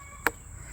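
A watermelon is thumped once, in a neighbor's recommended way, to check its ripeness by listening for whether it "thumps green," meaning not ready. A single short, dull knock dies away within a few hundredths of a second over a faint steady background. No verdict on ripeness is given.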